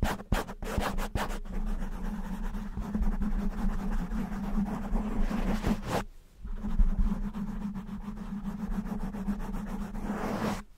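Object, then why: Foam microphone windscreen. A soft, porous black foam windscreen covering a handheld-size microphone is scratched and rubbed with the fingertips and short nails of both hands. The result is a dense, low, rumbling crackle with a steady hum underneath, opening with a few sharp scratches. The sound breaks off briefly around the six-second mark, then the rubbing resumes.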